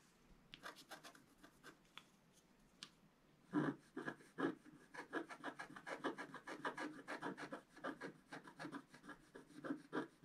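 A wooden stylus scratches the lower part of a flat coated scratch-art paper card. A few soft, sparse scratches come first, then the strokes turn louder and quicker: a steady run of dry, raspy scrapes with a bright, papery hiss.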